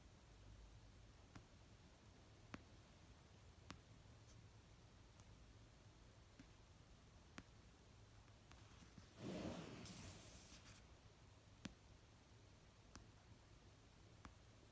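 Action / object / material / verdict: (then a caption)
tap / paperback book cover / paper / none. Long nails slowly tap the cover of an orange paperback novel lying on a blanket. Sparse, sharp, dry clicks with almost no ring sit over a quiet low hum. Around the middle, a louder, brighter rustling swell rises for a second or so before the tapping resumes.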